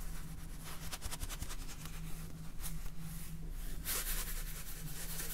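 A clear plastic salt jar full of salt, with a red plastic cap, is rubbed and scratched with fingernails while being turned in the hands. The result is a continuous dry, scratchy rubbing over a steady low hum near 160 Hz, with bright scraping bursts that peak just before the four-second mark.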